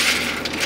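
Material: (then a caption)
Seeds. Freshly roasted, golden-brown pumpkin seeds tap and click on a metal cookie sheet after about 40 minutes in the oven. The sound is a bright, high-pitched clinking and rattling that lasts the whole clip, and the tapping shows the seeds are done and crisp.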